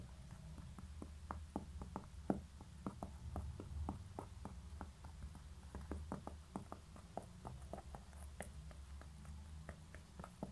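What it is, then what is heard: Concrete pen holder tapped with nails. Long nails tap and scratch the bottom of a small, hollow, grey concrete pen holder that has been turned over, with a label on its base. The result is a quiet, steady stream of short, dry ticks that die away almost instantly, over a low rumbling background with very little brightness.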